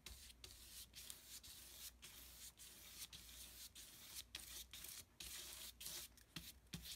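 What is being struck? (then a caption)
Heavy painting paper under a wide brush. A wide flat brush with a wooden handle is stroked again and again across a flat sheet of thick, heavy painting paper on a table, blending wet peach and pink paint. Each stroke is a soft, bright, hissing rub that mostly sits in the high end, broken by short quiet gaps between passes.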